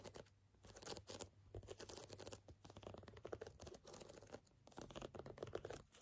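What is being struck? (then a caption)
Canvas sneaker. Tapping and scratching on a canvas sneaker produce soft, quick, crackly strikes and rasping scrapes in dense bursts with brief pauses. The sound is quiet, with a faint low hum beneath it.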